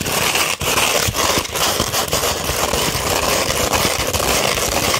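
Long red nails scratch across a flat 240-grit sandpaper sheet, making a continuous, dense, gritty rasp that is bright and hissy. The scratching stays steady for about five seconds, with only a brief dip in loudness near the start.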